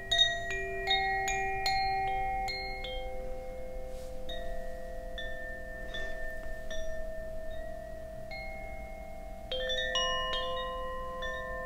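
A bamboo Koshi wind chime, a hollow bamboo tube with metal rods and a wooden clapper, is held by its cord and shaken. A quick cluster of bright, bell-like strikes is followed by sparser chimes. Each leaves long, overlapping tones that hum on beneath a soft background hiss.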